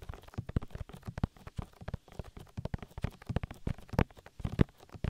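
Oily fingertips rub and squish over the soft, hollow silicone ear of a 3Dio binaural microphone in quick massaging strokes. It makes a rapid, uneven run of close, muffled, low squelching thumps and rubs with almost no brightness. Each squish stops dead with no ring.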